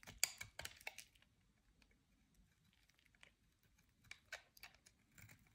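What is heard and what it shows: A metal utility knife blade scrapes and shaves the surface of a solid oval white bar of soap held in the hand. Quiet, dry, bright scratchy rasps come in a quick cluster at the start, then fall to near silence before a few more shaving strokes return near the end, with no ringing after each one.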